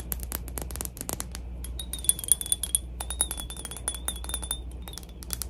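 A PacSun glass cologne bottle is tapped in rapid, light bursts, each tap a short, bright click. A faint high ringing tone lingers through the middle, over a steady low hum.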